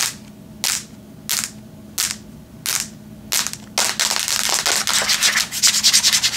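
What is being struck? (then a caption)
Tablet with metal back casing. Long nails scratch and tap the grey metal back of a Samsung tablet held in the hands. Five slow, evenly spaced bright scratching strokes give way to a rapid, dense run of hissy scratches and sharp taps.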